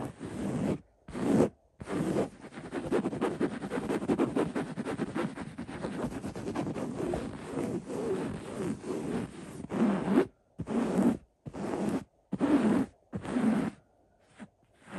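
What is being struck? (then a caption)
Linen fabric throw pillow. Fingertips scratch the coarse woven fabric of a cream linen-weave throw pillow printed "just one more chapter." A dry, gritty rustle runs nearly continuously through the middle of the clip, then breaks into short scratching bursts separated by silence. The sound is soft and close, with most of its energy in the low-mid range.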